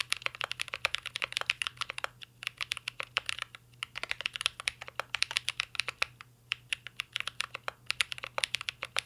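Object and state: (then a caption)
Mechanical keyboard, metal case, plastic keycaps. Fingertips of both hands type continuously on a mint green Cyberboard R3 mechanical keyboard with a metal case and plastic keycaps. Dense runs of sharp, bright, clicky keystrokes with almost no ring are broken by a few brief pauses, over a faint steady low hum.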